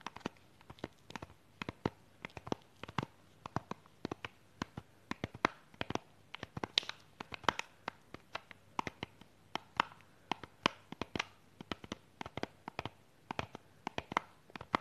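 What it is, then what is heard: Plastic box in cellophane wrap. Long pink nails tap and scratch the top of a small clear plastic false eyelash box wrapped in a cellophane sleeve. About 53 sharp, dry clicks land in quick, uneven succession over a faint crinkly hiss, each dying away almost instantly. The taps are bright and thin, centered in the upper midrange with little low end.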